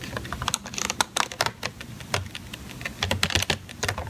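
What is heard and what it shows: Long teal-painted nails tap and scratch the lid and sides of a hollow, thin, clear plastic clamshell container, about palm-to-hand size, full of strawberries and resting on a white cutting board. The result is a rapid, irregular run of bright, dry clicks and light scratchy rasps with almost no ring, resembling fast keyboard typing.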